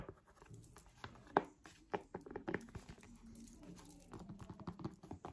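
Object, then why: Synthetic leather tablet folio cover. Long nails tap across a purple folding faux-leather synthetic smart folio cover laid over the front of a tablet. The result is a quiet, uneven patter of short, dry, muffled clicks with no ring, one tap landing noticeably louder than the rest.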